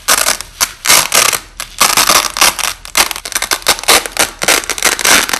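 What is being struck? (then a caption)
Nylon hook-and-loop tape. White nylon hook-and-loop (Velcro) strips, held flat, are peeled apart by hand and pressed back together, with the audio slowed down. Repeated bright, crackling ripping bursts rise and fall with almost no low end. Each tear stretches into a coarse, grainy texture.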